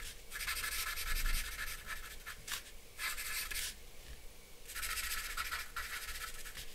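A black charcoal pencil draws short scratching strokes on a flat sheet of white drawing paper lying on a dark board. Bursts of bright, dry scratching come in stretches separated by brief pauses, over a faint low rumble.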